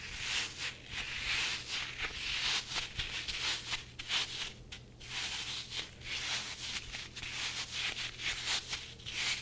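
A soft, hollow red rubber chili pepper toy with a green stem and eyes is rubbed and squeezed with the fingers, then stretched and dangled. It gives a steady run of bright, hissy squeaks and rubbery rubbing with short swells.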